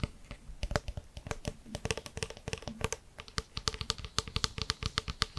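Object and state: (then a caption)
Plastic water bottle. A clear plastic bottle of water with a white plastic cap is held in hand and tilted while fingertips and nails tap and scratch the cap and bottle. The result is a quiet run of rapid, dry, typing-like clicks with bright edges and no ring, with a low thud under many of the taps.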